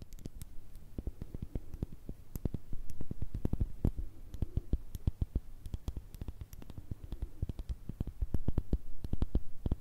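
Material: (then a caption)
Glass. A small round cosmetic cream pot with a clear glass base and black plastic lid is turned over and tapped on its labelled bottom with long red nails. Quick, irregular taps give short dull thuds with sharp, bright clicky tips that die away instantly. The tapping grows a little louder near the end.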